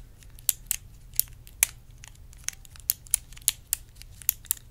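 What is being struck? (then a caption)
Clear plastic organizer box tapped with long nails. Long red acrylic nails tap and scratch a small, hollow, clear plastic multi-compartment organizer box that holds small colored items and is held in the hands. Thirteen sharp, bright clicks stand out over a faint low hum, each dying away almost instantly, with softer scratching in between.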